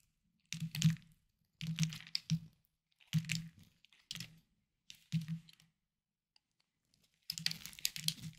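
A small knife carves a hard, solid, palm-sized green bar of soap held in the hand, with shavings falling onto a wooden board. Seven short bursts of crisp, crunchy scraping are heard, each with a low thud and a bright crackle, separated by quiet gaps. The last burst runs longer and more continuous.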